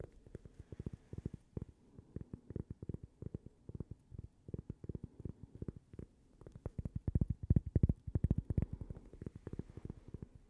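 A small, thin, solid, toaster-shaped cork coaster with a logo is held in the hands and tapped and scratched with long purple-painted fingernails. Rapid, irregular, dull low taps follow one another with almost no ring, over a faint scratchy rustle. They grow louder and denser around the seven-to-eight-second mark.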